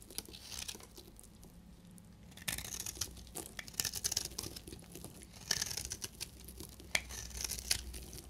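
A solid, dry beige bar of soap held in the hand is scraped and cut with a utility blade, shedding crumbly flakes. The clip is a dense run of bright, dry scraping and crinkly tearing sounds with short, sharp crunchy ticks. There is a quiet pause around one to two seconds before the cutting picks up again.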